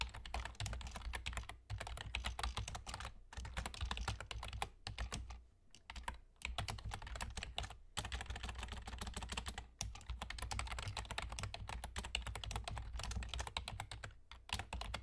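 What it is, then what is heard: Plastic computer keyboard being typed on. Both hands' fingertips with short nails type rapidly on a full-size black plastic computer keyboard with German key labels and hollow keys. The sound is a dense run of short, bright clicks and taps over a steady low hum, broken by brief pauses around 1.7, 3.2, 5.5 to 6.3, 7.9, 9.7 and 14.2 seconds.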